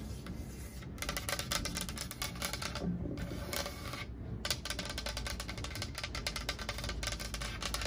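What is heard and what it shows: Long acrylic nails scratch and rub along the painted surface of a large, flat, solid wood plank wall sign, painted black with orange "Hocus Pocus" lettering. The result is a dense, steady stream of rapid, bright, dry scratching strokes with a low rumble underneath, broken by brief pauses near 1, 3 and 4.3 seconds.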